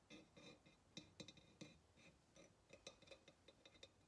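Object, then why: Ceramic pottery vase. Long nails tap the rim and neck of a hollow ceramic pottery vase in a quick, uneven run of light clicks. Each tap gives a short, bright ceramic tick with a faint ringing tone that dies away almost at once.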